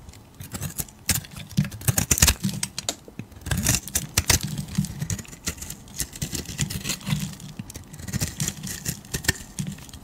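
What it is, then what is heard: Soap bar being carved. A solid beige oval bar of soap, palm-sized and held in a hand with long painted nails, is scraped and shaved with a metal utility blade. Quick, crisp, bright scraping and cutting clicks come in rapid bursts over a low, steady rumble.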